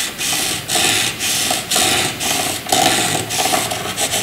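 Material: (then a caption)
Graphite. A graphite pencil fills in a dark shaded area on white paper with scratching, rubbing strokes. A steady, bright, papery rasp swells and dips in a loose back-and-forth rhythm of roughly one stroke per second, with a faint midrange scratch tone beneath the hiss.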